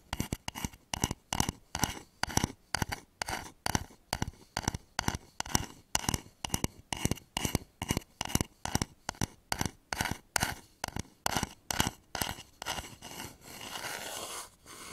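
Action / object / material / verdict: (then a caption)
scrape / polished wooden bowl / wood / none. Fingernails scratch the outer surface of a hollow, polished wooden bowl turned upside down over microphones, making a fast run of short, bright, raspy scraping strokes with a low hollow undertone. Near the end the separate strokes blur into a softer, continuous rubbing.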